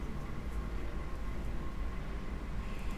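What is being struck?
Nothing is struck.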